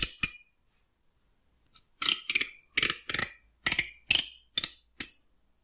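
A fingertip and fingernail run along and pluck the teeth of a solid wooden hair comb. About eleven short, bright, rasping bursts follow, two quick ones, then a pause and a steadier run. Each is mostly high, with a faint low thump underneath and almost no ring after.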